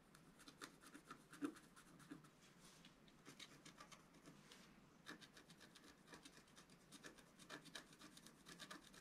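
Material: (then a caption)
Coated paper. A wooden stylus scratches dense strokes into the coating of a flat, thin, black-coated scratch art sheet. The result is a quiet, steady run of short, dry, bright rasping scratches that come in quick clusters with brief pauses between them.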